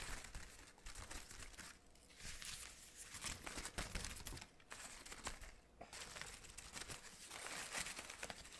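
A hand crumples and rustles the synthetic fabric petals of an artificial orchid spray. The result is a steady, bright, crinkling rustle that swells and eases in bursts, with brief quieter gaps near 2, 4.6 and 5.7 seconds.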